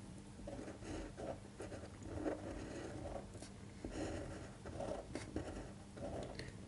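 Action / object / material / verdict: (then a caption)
scrape / paper sheet under a fine pen tip / paper / none. A fine-point pen tip scratches across a thin white printed paper sheet lying flat on a table, tracing cursive letters while the other hand rests on the paper. Soft, continuous scratchy strokes rise and fall in short bursts with a quiet low hum underneath.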